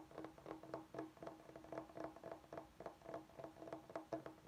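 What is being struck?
Bamboo cutting board.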